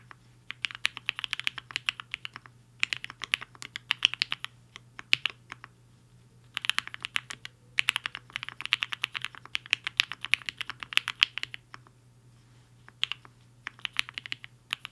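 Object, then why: Mechanical keyboard with plastic keycaps. Both hands' fingertips type fast on a compact HI-FINGER 7.5 mechanical keyboard with a black case and white and pink plastic keycaps, resting on a desk mat. Rapid bursts of sharp, bright clicks come in flurries separated by brief pauses, each click dying out almost instantly over a faint, steady low hum.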